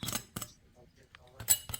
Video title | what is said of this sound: The easiest Focaccia Bread Recipe step-by-step | Just listen to how crispy that crust is.